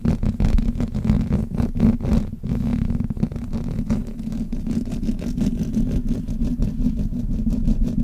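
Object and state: Metal microphone grille being rubbed.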